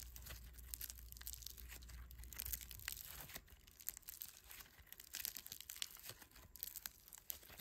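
Bare fingertips stretch, squeeze and knead a palm-sized, solid but pliable lump of multicolored polystyrene foam beads set in clear slime. The result is dense, quiet, bright crackling and crunching as the beads pop and rub, with a faint low hum under the first few seconds.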